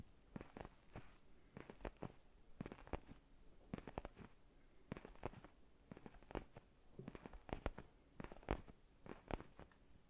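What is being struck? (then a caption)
Faux leather padded neck pillow. A black faux-leather padded neck pillow is held close to the microphone and scratched and rubbed with fingertips and nails. Quiet, short crackly scratches come in quick clusters of strokes with brief pauses between them. Each stroke is dry and clipped, with a low, soft body and bright, papery edges.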